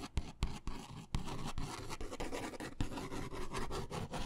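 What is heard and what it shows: A blue ballpoint pen is drawn and scratched across a white paper sketch pad of thin stacked sheets held upright in one hand, making quick scribbling strokes. A steady, dense scratching texture is heard, broken by sharp taps and sudden stroke onsets, with most of the energy sitting low and little high-end brightness.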